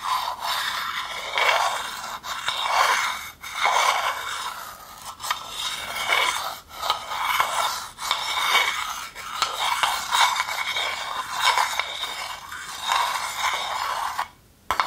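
A wooden spoon scrapes inside a hand-sized, hollow, empty, dark polished wooden bowl. Steady rasping strokes swell and fade in a continuous rhythm, with a dry, bright scratching texture centered in the midrange and almost no low end. It ends with a brief pause and one final scrape.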